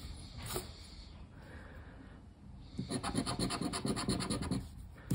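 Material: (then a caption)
Cardboard. A hand scratches the silver coating off a thin cardboard lottery scratch-off ticket lying flat on a wooden table, using the edge of a black plastic disc. Soft, faint rubbing gives way after a few seconds to a rapid run of dry, raspy scratching strokes, ending on one sharp, bright scrape.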